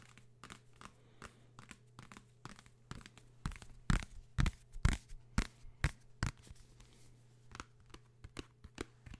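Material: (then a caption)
Paper. A paper travel guide book about London, whose material is completely different from an earlier book, is tapped repeatedly. Short, dry, hollow taps with a low thud come in an uneven rhythm, growing louder and denser in the middle before softening again toward the end.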